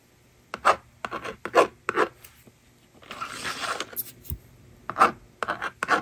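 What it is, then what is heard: Plastic magnetic drawing board. A plastic stylus rubs and scratches numbers onto a plastic magnetic drawing board resting on a table, making short, bright scraping strokes with brief pauses between them. Midway, the eraser slider is pushed across the board with a longer, steady rasping sweep, and then the scratchy writing strokes resume.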